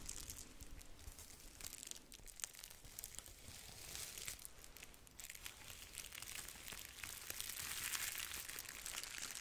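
A thin piece of red plastic bubble wrap is scratched by long nails and crinkled by fingers. Dense, bright crinkling and crackling goes on throughout, with fast, uneven scratchy ticks and a soft low rumble underneath. The crinkle grows brighter and fuller toward the end.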